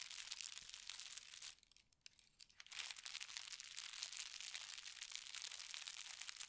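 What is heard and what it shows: Fingertips with red nails scratch and smooth a thin white tissue paper sheet with a gold star print, lying flat on a bed. A dense, bright crinkling and scratching fills the clip, broken by a brief quiet lull near the two-second mark before the rustling resumes.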